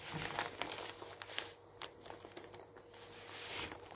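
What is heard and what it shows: Fingers scrunch and crinkle a page near the edge of an open glossy paper magazine resting on a wooden table, then smooth it flat. Bright, dry crackles and crisp snaps come in uneven bursts, fading into a softer, steadier rustle as the page is smoothed.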